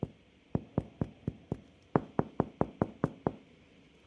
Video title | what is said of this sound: Delicious sourdough bread recipe, suitable for beginners | The way to check if it's cooked is if it sounds hollow when you tap on it, which this does.